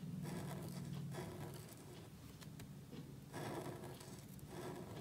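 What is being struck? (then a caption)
Thin paper cardstock card under a marker nib. A calligraphy marker nib strokes and scratches across a small, thin black cardstock card lying flat on a table and held by fingertips while writing. Quiet, soft scratching comes in short bursts of strokes over a steady low hum.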